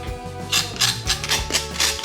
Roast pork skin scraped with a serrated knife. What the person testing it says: hear how crispy it is now